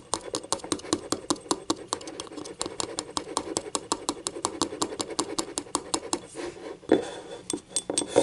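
Fingernails scratch the rim and inner wall of a small, hollow, empty yellow ceramic cup with paint stains inside, lying on its side. About forty quick, sharp, bright clicks and short scrapes come in a steady run, each dying away almost at once over a thin, dry rasp with a midrange body.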